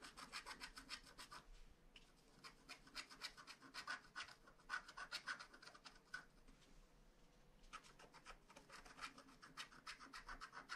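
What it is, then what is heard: Scratch-art card being scratched. A wooden stylus scratches fine lines into a flat paper scratch-art card with a black coating, working around the castle and sky motifs. Quick, dry, bright scratching strokes come in dense, uneven bursts, with quieter, sparser stretches near 2 seconds and 7 seconds.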